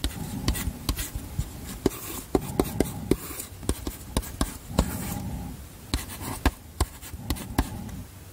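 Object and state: Chalk writing on a small framed chalkboard.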